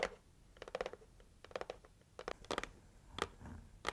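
Long nails tap and scratch the lid of a closed, red printed, heart-shaped cardboard gift box. Short, dry clicks come in quick clusters, with a bright crisp edge and no ring after each, and soft papery scratching fills the quiet gaps between them.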